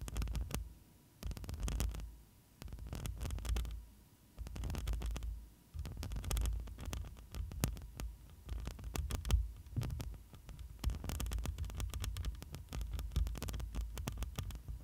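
Both hands with long nails scratch the front of a black microphone's metal mesh grille. The result is a dense, deep, muffled rumble of scratching bursts with quick bright crackles, broken by short quiet pauses before steadier continuous scraping.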